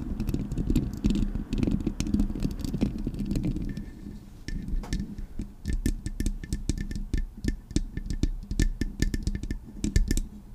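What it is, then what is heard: Metal microphone grille. Long acrylic nails scratch the metal mesh grille of a Blue Yeti microphone, making a dense, low, rumbling scrape for the first few seconds. They then tap the microphone's body, giving quick, sharp taps with bright clicking edges over a low thud.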